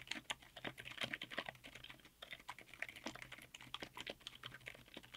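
A 60% mechanical keyboard in a white aluminum case, fitted with black SA-profile double-shot ABS keycaps on Outemu Silent Yellow Jade silent tactile switches, is typed on quickly with the fingertips of both hands. The presses make a fast, continuous stream of soft, muted clicks with a bright, papery tone that fade almost instantly, over a faint low hum.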